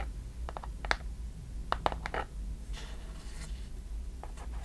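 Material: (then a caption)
Wood. A small hollow wooden chest box with metal clasps, held close, is tapped and scratched with long nails. Quick, dry clicking taps with a bright edge come in scattered bursts, then give way to a softer, hissing scratch across the surface. A low, steady hum sits underneath throughout.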